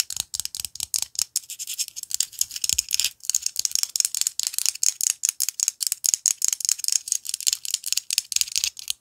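Long fingernails rapidly tap and scratch the thin shell of a whole white chicken egg held in the fingers. The result is a dense run of dozens of crisp, dry clicks and light scratches, all high and bright with no low end, each dying away almost instantly.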